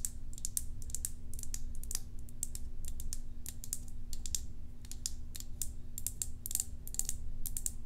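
A small, hollow white plastic tub with a green label and its lid on is held in one hand and tapped with long acrylic nails. The result is a rapid, continuous stream of short, bright, clicky taps. Beneath them sits a steady low hum and rumble.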